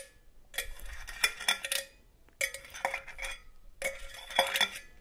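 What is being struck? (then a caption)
Hollow metal cookie tin. Long gold metal claw nail covers tap and scratch on a hollow, red and green cylindrical metal cookie tin. There are three bursts of quick, bright metallic clicks and clatters, each separated by a short pause. A light hollow ring sits under the clicks, and each burst fades quickly.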